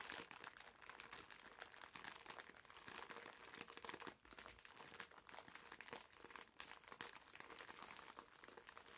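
A green foam bath sponge wrapped in clear plastic film is pressed between the palms and squeezed, so the wrapper crinkles. The result is steady, dense, quiet crinkling and crackling for the full clip, bright and papery with almost no low end, and brief dips in between squeezes.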